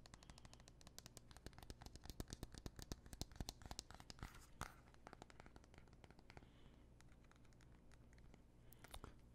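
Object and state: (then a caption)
Aluminium smartphone. A small, thin gold aluminum iPhone, held in both hands, is tapped rapidly with fingernails on its back and edges. The result is a fast, irregular stream of sharp, dry, bright clicks that die away almost instantly, over a steady low hum.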